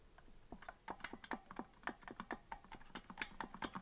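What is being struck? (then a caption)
Plastic melodica keys. Fingertips tap the plastic keys of a hollow green plastic melodica that is not being blown, producing a quick, uneven run of short, dry clicks. Each click is bright with a hard attack, rings only briefly, and sits at a quiet level with little low end.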